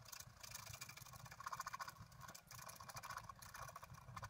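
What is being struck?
Black-coated scratch art paper card scraped with a wooden stylus.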